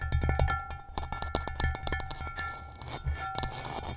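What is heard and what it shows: Long nails tap and trace across the rough, textured surface of an upside-down, hollow gray ceramic bowl. The result is a rapid, uneven series of short, dry clicks and scratchy taps with bright edges, over a low hollow thump that dies away almost at once.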